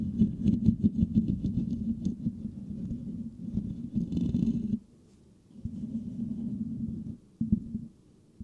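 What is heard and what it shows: Fingertips of both hands scratch the rounded, hollow metal mesh grille of a white microphone, producing a dense, low, rumbling scratch centered around 200 Hz with rapid, irregular patter. The scratching stops briefly near the middle, resumes steadily, then breaks off again with a few short final bursts.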